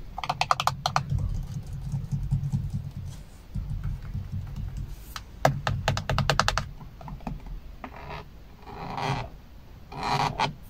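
Fingertips and an open hand rub, tap and scratch across the large, hollow airbag hub cover and spokes of a Chevrolet car steering wheel with a black plastic/polyurethane rim. Quick clusters of sharp, dry, clicky taps come near the start and again around the middle, over a steady low rubbing rumble. Broader, brighter scratchy swishes follow toward the end.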